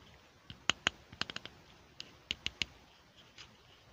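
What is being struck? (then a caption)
Small plastic toy stool. Fingertips snap the seat of a small, hollow, pink plastic toy stool onto its base and handle it while it is held in both hands. A series of sharp, bright plastic clicks sounds over a quiet background, each dying out almost at once.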